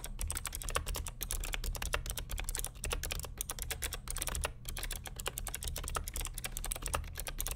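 Fingertips of both hands type continuously on the plastic keycaps of a vintage beige NMB RT8255cw+ mechanical keyboard with clicky Hi-Tek "Space Invader" switches and a hollow plastic case. A rapid, steady stream of sharp, bright clicks and clacks rides over a constant low hum.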